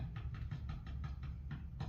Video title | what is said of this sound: Rewinding vintage pickups | This one was not potted. There is no wax on the copper, so it has that microphone sort of quality to it.